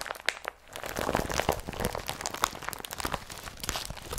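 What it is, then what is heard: Woven polypropylene bag being crumpled. An empty blue IKEA BRATTBY woven polypropylene carrier bag is crumpled and lifted with both hands. It gives a dense run of dry, scratchy crinkles and crunches with bright, papery edges. Each rustle stops at once with no ring.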